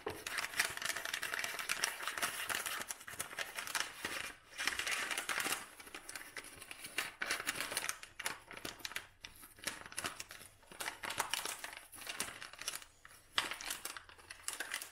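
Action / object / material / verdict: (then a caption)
scrape / dried lavender bouquet in kraft paper wrap / paper / none. Long nails and fingers scratch and crinkle the kraft paper wrap around a bouquet of dried lavender. The result is dense, bright, papery crackling in uneven bursts, with short pauses and almost no low end.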